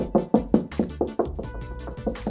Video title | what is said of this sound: How strong is a single CoreFix fitting in a dot & dab wall? | it sounds Hollow and then you've got a really solid bit